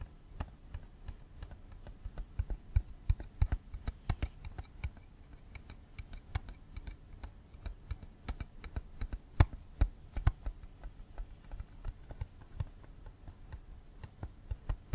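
Fingernails tap a small, hollow, clear plastic cassette tape case with a pink insert, held up close beside the microphone. Dozens of quick, dry clicky taps fall in an irregular, typing-like patter, each with a hollow low knock and a sharp bright tick that dies away at once.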